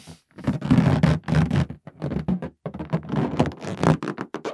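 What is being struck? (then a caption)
Inflated latex balloon. Fingertips and nails scratch and rub the surface of a green, hollow, air-filled inflated latex balloon held in both hands. The result is a run of low, rubbery squeaks and scraping bursts with short pauses between strokes.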